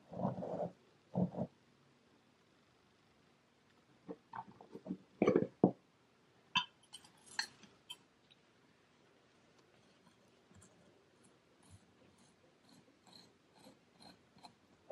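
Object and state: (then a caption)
Kinetic sand block being scraped. A solid, compact brick of brown kinetic sand on a white surface is pressed and crumbled by black-gloved fingertips, making soft, low, muffled crunches. It is then scraped and carved with a metal loop sculpting tool on a wooden handle, giving short gritty rasping scrapes that turn brighter and thinner toward the end, with quiet pauses between them.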